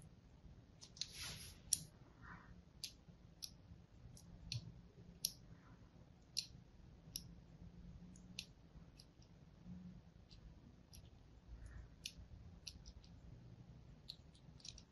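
A thin blade scores crossing lines into a hand-held, solid blue and white striped soap bar, making a quiet, scattered series of short, bright clicks and scratchy ticks. Each click stops at once, over a faint, steady low hum.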